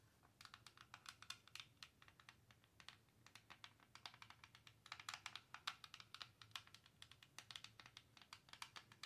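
Long nails tap and scratch across the textured faces of a large, clear, faceted plastic star wand that is hollow and lit by LEDs. A rapid stream of short, dry, bright clicks and scrapes sits mostly in the high range, centered around 1.3 kHz, with almost no low end. Each tap dies away almost instantly, over a faint steady background hum.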